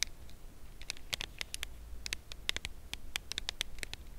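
A red Lindt Lindor cardboard box holding a chocolate bar is held in both hands and tapped and scratched along its edge with long acrylic nails. Quick, dry, bright clicks and light scratches come in an uneven patter with almost no ring, over a steady low hum.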